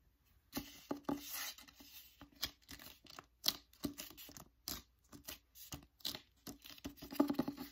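Fingertips and nails tap and scratch the cover of *The Secret Letters*, a hardcover book with a paper dust jacket held upright. Short, dry, papery taps and scrapes come in uneven bursts with quiet gaps between them. Each sound dies away almost instantly.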